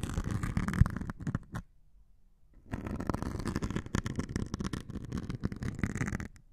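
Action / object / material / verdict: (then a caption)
scrape / melamine foam sponge with abrasive scouring layer / melamine foam / none. A metal needle scratches and pokes the grey abrasive top of a hand-held white melamine foam sponge. It makes a dense, dull scratching and rustling, mostly low in pitch with very little brightness. There is a brief silent pause near the start before the scratching picks up again and continues to the end.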